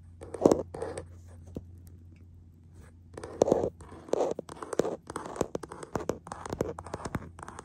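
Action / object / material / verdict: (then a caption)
tap / hard plastic phone case on a smartphone / plastic / none. Fingertips and short nails tap and scratch the back of a printed hard plastic case on a hollow, hand-sized smartphone, the recording phone itself, held in a black plastic clamp mount. Close, dry clicks and raspy scratches come in irregular bursts with a quieter pause in the middle, over a steady low hum.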